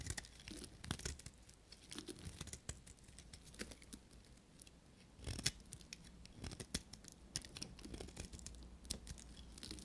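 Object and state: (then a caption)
Dry soap being shaved. A knife blade shaves curls from a small solid piece of dry pink soap held in the fingers. The sound is a quiet, steady run of dry, crisp scraping and crackling, broken by many short bright snaps that stop almost instantly, over a faint low hum.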